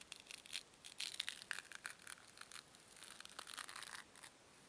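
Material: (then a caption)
Foam. Two small, solid white foam cubes are crushed and rubbed together by fingertips with long nails. The result is a quiet, rapid stream of bright, dry crunching and crackling with squeaky scrapes and almost no low end. The sound tapers off toward the end.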